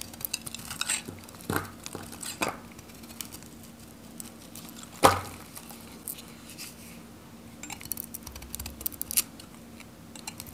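A metal knife shaves flakes and cuts slices from a solid, dry, varnished green Godrej No.1 soap bar held in the hand, breaking it into pieces. Soft, crisp scraping and shaving sounds come in short bursts, with one sharp, bright crack about halfway through as a piece breaks off, and quiet pauses between the cuts.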